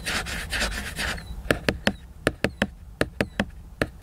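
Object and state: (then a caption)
Glossy laminated book cover. Fingertips and nails scratch and tap the glossy laminated paper cover of a large picture book. About a second of dry, rasping scratching is followed by 11 short, crisp taps in uneven groups, each with a slight hollow, mid-pitched knock.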